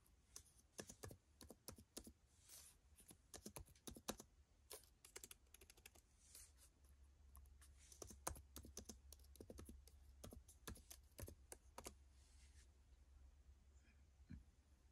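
Fingertips type on the plastic keys of an open dark plastic laptop with its screen on, resting on a carpet. Rapid, short, bright key clicks come in uneven bursts over a steady low hum, each click dying away almost instantly.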